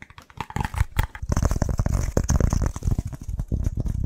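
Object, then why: Pressed wood fiber firelighter block. Fingertips and nails rapidly tap and scratch a flat, brown, scored, hand-sized pressed wood fiber BBQ firelighter slab. The solid block gives a dense run of dull, low thuds mixed with dry scratchy clicks and crackles. Each hit stops almost at once with no ring.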